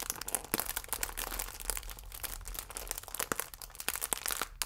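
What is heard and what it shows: A full plastic film croissant pack is squeezed and crinkled with fingertips and nails, giving a dense, continuous crackle. Sharp, bright snaps stand out over a steady low hum throughout the clip.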